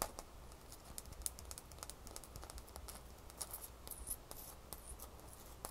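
A single small, solid ice cube is held up close and scratched and rubbed with long fingernails. The result is quiet, rapid, bright scratching clicks and rasps, each dying away almost instantly, over a steady low hum.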